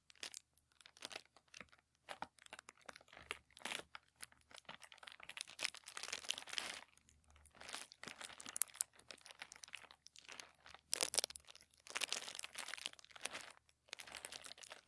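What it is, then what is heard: Thin tissue paper. A crinkled sheet of thin white tissue paper lies flat on a table while the fingertips of both hands lightly rub and scratch across it. Quiet, bright crinkling and rustling comes in irregular bursts separated by short silences, with almost no low end.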